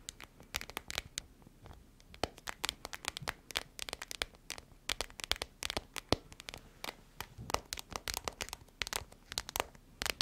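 An iridescent holographic plastic foil pouch, hollow, is tapped and squeezed with long nails and fingertips. Dense, sharp clicks and crisp crinkling rustles come in quick irregular bursts throughout, bright and dry with almost no ring.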